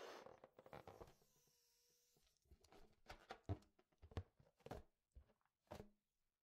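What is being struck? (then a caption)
Inflated latex balloon. An inflated yellow latex balloon, hollow and air-filled, is held in one hand and rubbed and brushed across its surface with a makeup brush, with long red nails against it. Quiet, dry brushing swishes and soft rubbery thumps come in uneven bursts, with a brief steady squeaky tone partway through. Each stroke dies away almost at once.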